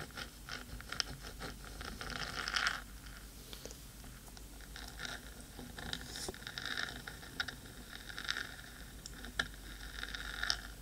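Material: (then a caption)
Metal. Long pointed nails scratch the black metal body of a 3Dio microphone, producing a steady stream of bright, crisp scratching and tapping clicks. A denser scraping run builds near the start before settling into lighter, intermittent scratches and sharp ticks.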